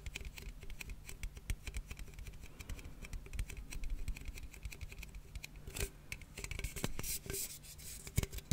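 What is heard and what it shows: A closed blue and red aluminium cola can, held in one hand, is tapped and scratched with fingernails. Quick, dry clicks and scratchy rasps patter along steadily over a low, dull body. A few brighter, louder taps stand out near the end, and none of them ring on.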